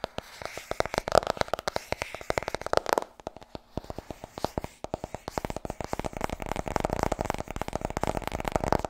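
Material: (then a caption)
Paper. Long red nails and fingertips tap rapidly on the cover of a white, medium-sized softcover paperback held in both hands, and flick through its solid stack of pages. Dry, short clicks and papery flutters come in quick bursts, thinning briefly around the third second before building into a denser, steadier patter toward the end.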